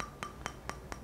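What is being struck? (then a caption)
Resin-bonded sharpening stone. A resin-bonded (resinoid) whetstone is held up in the air on the fingertips and tapped several times with a fingernail. Each tap is a short, dull click, like tapping plastic, with a faint tone near 1.2 kHz that dies away almost at once. That dull, plastic-like sound is the normal sign of a resinoid stone.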